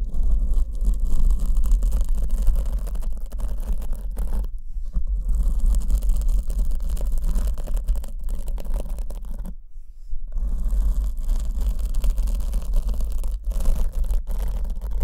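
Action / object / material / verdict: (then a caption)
scrape / foam microphone windscreen / foam / none. Long almond acrylic nails scratch a black porous foam windscreen on the left microphone while fingertips support it from behind. The result is a continuous, dense, rasping scratch with a heavy low rumble underneath, with brief pauses near 4.5 and 10 seconds.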